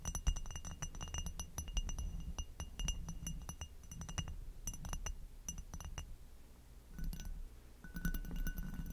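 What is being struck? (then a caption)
Textured glass goblet. An inverted amber hobnail glass goblet, hollow and empty, is tapped on its foot with long nails, then tapped and scratched across its textured bowl. Quick, bright glassy clinks with short, high ringing tones sit over a steady low rumble. The final seconds bring a denser scratching texture with a sustained mid-pitched ring.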